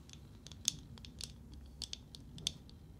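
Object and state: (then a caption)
Painted wooden nesting doll. A small, hollow, painted and lacquered wooden matryoshka nesting doll is held in both hands and tapped and scratched with long nails. Quiet, bright, crisp clicks and scratchy ticks come in an irregular scatter, each dying away at once over a soft low background rumble.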